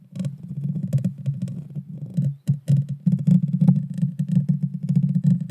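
Long dark fingernails scratch the small, hollow, round metal mesh grille of a Blue Yeti Nano microphone. The result is a dense, continuous run of rough, boomy low scratching and thumping with only brief gaps, heavy in the low end with faint brittle crackle above.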